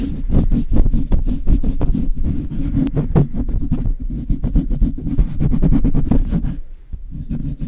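Long light-blue nails and fingertips scratch and tap the bare metal mesh grille of a Blue Yeti microphone in quick strokes. The result is a dense, fast run of short, irregular scrapes and taps, heard mostly as a deep, boomy rumble with faint crisp edges. It keeps a steady loudness until a brief dip near the end before resuming.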